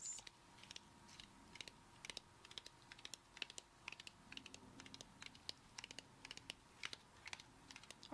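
Long acrylic nails tap quickly on the fibrous shell of a whole brown coconut held in one hand. About 41 crisp, bright clicks come in a rapid, uneven patter, each dying away almost at once over a faint steady hum.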